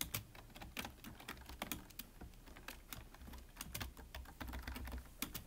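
Both hands type with their fingertips on a full-size black plastic computer keyboard with a hollow body. The result is a quick, continuous run of short, crisp key taps with bright clicky tops and a soft low thump underneath.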